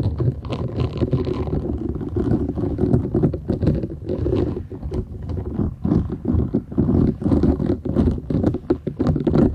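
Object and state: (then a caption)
Silicone scrubber sponge being scratched. A thin, solid, flat purple silicone scrubber sponge with short bristles is held folded in both hands while long nails scratch across the bristles. The result is a dense, continuous run of rapid, low, rumbly scratching and scraping strokes that swell and dip in loudness throughout.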